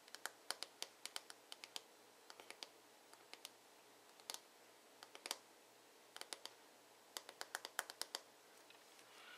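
Fingertips and nails tap and scratch the smooth, glossy blue plastic back of a paddle hairbrush with a hollow shell. About 37 quiet, sharp, bright clicks come in irregular clusters, each dying away almost instantly. A soft scratching rises near the end.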